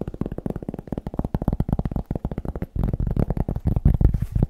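A cork is tapped quickly in a steady, rapid stream of short, dull knocks. The taps are deep and bassy, centered low around 59 Hz with almost no high end, and each dies away almost instantly. Near the end the tapping grows denser and slightly louder.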